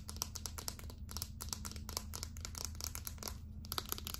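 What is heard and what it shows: Long acrylic nails tap and scratch quickly on a small, hollow, light-blue plastic Secret deodorant stick held up close. The result is a dense run of sharp, bright clicks and scrapes over a steady low hum.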